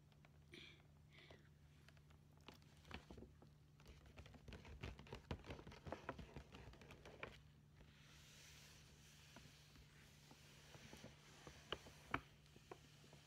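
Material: Paper.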